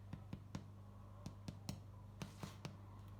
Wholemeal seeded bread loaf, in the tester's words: what it should sound like if it's cooked that like hollow kind of sound